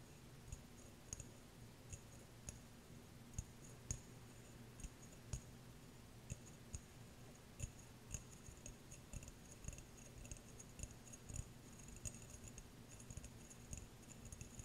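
Fingernails tap and scratch the sides of a small, clear, empty glass jar. Quiet, sharp clicks come at an irregular pace with very short decays, each adding a faint bright glassy tick over a steady low hum and a soft scratchy rasp.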